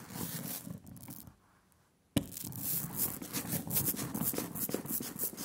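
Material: Printing ink.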